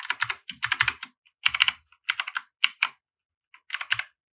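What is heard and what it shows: Fingertips of both hands type continuously on a compact RGB mechanical keyboard with white plastic keycaps, resting on a felt mat. Bright, crisp plastic clacks come in quick, irregular bursts separated by short pauses, each keystroke dying away almost instantly with a faint low thump underneath.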